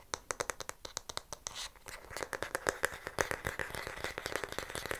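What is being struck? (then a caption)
Wooden hair brush back. Fingernails tap and scratch the smooth, solid wooden back of a light wooden paddle hair brush, held with the back toward the mic. Sharp, dry clicks come at a steady pace at first, then quicken into a dense run of taps mixed with soft scratching and brushing.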